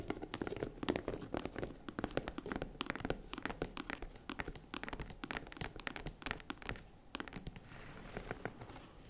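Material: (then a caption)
Faux leather. Fingernails tap rapidly on the sides of a small tan faux-leather zippered jewelry case while hands cup it, producing dense, short, dry clicks and soft knocks with a low, hollow body. The tapping runs steadily throughout and thins slightly into a quieter, scratchier patch near the end.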